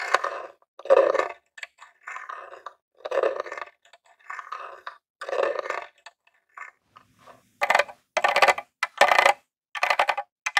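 A metal claw nail taps on a grey, hollow plastic mini game console, first on the lid and then on the front near the controller port. The sound comes in bursts of quick, dry, hollow clicks centred in the midrange with no ringing. The later taps turn sharper and brighter.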